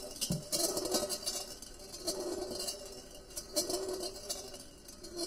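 A large, empty, perforated stainless steel colander with side handles sits on a white table and is swirled so a solid steel ball rolls around inside, clinking against the thin hollow metal bowl. The result is a steady rolling rattle with irregular bright metallic clinks and a brief mid-pitched ring that swells and fades as the ball circles.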